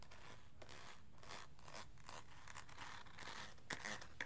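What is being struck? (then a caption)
Hollow plastic aroma diffuser shell. Fingernails and fingertips scratch and tap the smooth, curved shell of a hand-sized hollow plastic aroma diffuser, lit from inside and held in one hand. Soft, bright scratching swishes repeat at a quiet, steady level, with a few sharper clicky taps standing out near the end.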